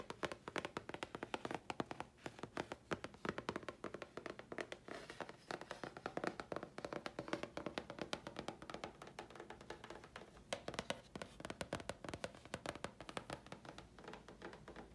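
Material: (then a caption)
Chipboard. A thin, flat grey chipboard sheet is held in the hands and tapped on its face with long fingernails. A rapid, steady stream of short, dry, clicky taps carries a mid-pitched body and dies away almost instantly, with only a little bright edge.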